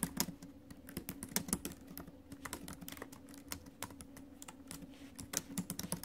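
Fingertips and acrylic nails type and tap on the plastic chiclet keys of a silver metal laptop. A steady run of quick, bright clicks, with a few louder taps, rises over a faint low hum.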